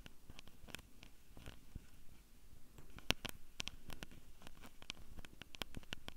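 Long purple nails on both hands tap and scratch the metal mic capsules and top edge of a small Tascam handheld recorder with a hollow black plastic body. Many quick, dry clicks and scratches with almost no ring sit over a low, soft rumble, with bright ticks standing out along the way.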